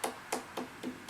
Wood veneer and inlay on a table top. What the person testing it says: we do that by tapping you can hear the loose veneer